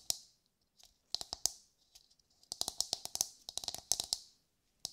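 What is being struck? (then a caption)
Coconut shell half. Long nails tap and scratch a hollow, brown, fibrous coconut shell half held in both hands. Bright, dry clicks come in irregular bursts with short pauses, each one cut off almost at once with no ringing.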